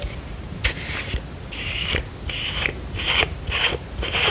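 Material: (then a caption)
Plastic. Long pink acrylic nails tap and scratch the white plastic cap and paper-labelled body of a hand-sized, apparently hollow plastic skincare bottle. The result is a run of sharp clicks between stretches of bright, crackly scraping.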